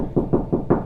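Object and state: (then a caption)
Hollow drywall, no stud behind. Knuckles knock four times on a drywall wall at a spot with no stud behind it, checking for a stud. Each knock is a short, hollow, low-mid thud with a brief ring and almost no high end, so the wall sounds hollow there.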